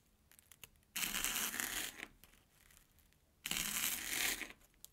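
An airy corn puff stick of Banana Kick snack, resting on an orange plastic board, is sliced with a steel kitchen knife. Two long, bright crunching bursts, each about a second, rise out of quiet, with faint small crackles between them.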